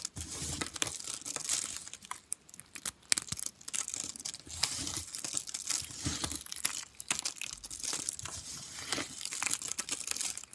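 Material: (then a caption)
Soap. A pile of broken, dry orange soap flakes on white paper, solid and brittle, is squeezed and crushed between the fingers and palms. The result is continuous dense, bright crunching and crackling with sharp snaps and very little low end. Short pauses come between handfuls.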